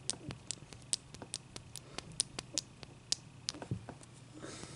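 Long dark-painted nails tap and scratch a large, clear, solid ice cube resting on a towel. Quick, bright clicks sound in an uneven rhythm with almost no ring, and a soft, hissy scratching rises near the end.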